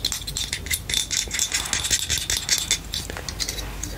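A small, hollow, lilac matte plastic butterfly-shaped claw hair clip with teeth is tapped and scratched with long nails, and its spring hinge is clicked open and shut. The result is a continuous run of bright, dry ticks and scratchy rustles with a thin ringing tone around 3.5 kHz, and almost no low end.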